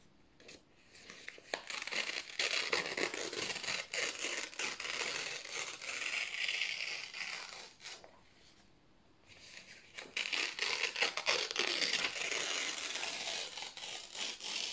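Fingertips slowly tear thin white printed office paper sheets into strips, making a crisp, bright ripping and crinkling sound. The tearing comes in two long stretches with a brief quiet pause in between, close and dry.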